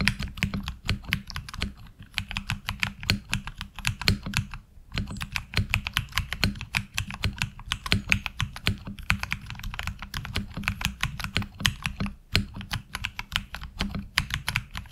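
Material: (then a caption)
ABS plastic. Fingertip typing on a HyperX Alloy Origins Core mechanical keyboard with ABS keycaps produces a steady stream of sharp, clacky keystrokes with bright clicks. There is a low thocky body underneath and brief pauses near five and twelve seconds. Each keystroke decays almost instantly.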